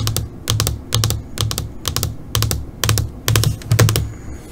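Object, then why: Plastic LCD monitor screen. Long pointed fingernails tap on the flat black screen of an LCD computer monitor, making about twenty quick, bright clicks in small clusters of two or three. Each click is crisp and short, over a soft low hum and thump around 110 Hz.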